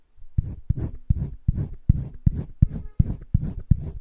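A green wooden colored pencil shades a heart on a flat, spiral-bound sketchbook page with repeated scratching, rubbing strokes. About a dozen short, dull strokes come in a quick, fairly even rhythm, each a soft low scrape with a faint papery hiss. Nothing rings on after each stroke.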